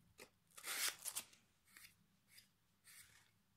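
Sandpaper held in the fingertips rubs along the edge of a solid pine plank held across the lap. Seven short, bright, raspy scraping strokes are heard, the loudest bunched together early, with quiet pauses between the later ones.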